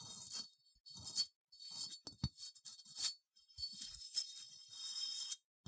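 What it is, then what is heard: Unglazed ceramic sheep figurine. Long nails scratch slowly across a small, cream, matte, unglazed ceramic sheep figurine with a bumpy wool texture, held in the hand. The clip is quiet, with bursts of dry, bright, crunchy scraping separated by short silences and a few faint low taps.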